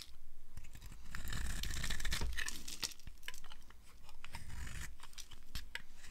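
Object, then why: Bar of soap cut with a blade. A metal blade carves crumbly cubes off the edge of a green-and-white striped solid dry soap bar held in the palm. The result is a dense, dry crunching and scraping texture, with fast, irregular crackly ticks over a low rumble and bright, gritty bursts as the pieces break away.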